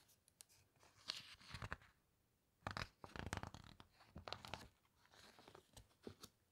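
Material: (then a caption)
Glossy paper. Fingertips press, squeeze and rub the glossy pages of a large hardcover book lying flat, then turn a page. The result is a series of quiet, crisp paper rustles and crinkling scrapes with bright, papery texture and short bursts separated by near-silent pauses.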